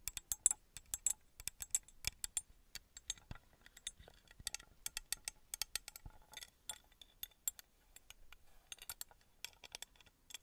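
Long red acrylic nails tap and scratch the faces of a small, engraved, copper-colored metal pyramid, palm-sized and likely hollow, held in one hand. Quiet, bright, clinking clicks come in rapid, uneven bursts, each dying away almost instantly, with faint scratchy rustling between them and almost no low end.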